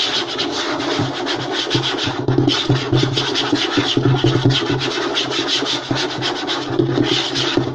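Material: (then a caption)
Wood. Short nails and fingertips scratch and rub fast across a flat, light wooden tabletop. The result is a steady, dense rasping texture with a bright, hissy top and a low hum underneath, and the strokes pulse in quick, uneven bursts throughout.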